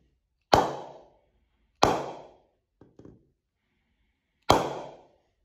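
A full-size solid willow cricket bat, held upright by its handle, is struck on the face three times with a round wooden mallet in a knock test. Each strike gives a sharp woody knock with a brief ping around 840 Hz that fades within about half a second. Two faint, softer taps sound between the second and third strikes.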